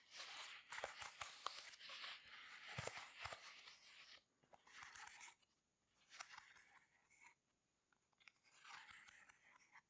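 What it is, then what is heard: Silicone pop-it fidget toy. Fingers press and pop the bubbles of a rainbow heart-shaped silicone pop-it fidget toy and tap its surface with long nails. Soft, crackly, high-pitched clicks and pops come in uneven bursts, with short quiet pauses between them.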